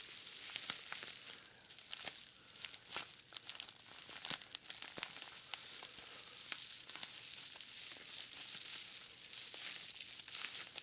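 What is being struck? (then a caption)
Roll of plastic bubble wrap. A large roll of plastic bubble wrap with a green paper label is held in both hands and handled so the wrap crinkles. The sound is a steady bright, high crinkling hiss scattered with many sharp, quick crackles and pops, with almost no low end.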